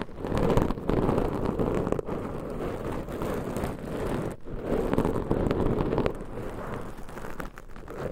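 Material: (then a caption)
Foam. Long nails scratch and squeeze two black foam microphone covers. The result is a dense, muffled, rumbling crackle that stays low and dull, with no bright highs. It is nearly continuous, dropping out briefly around two seconds and again just after four seconds.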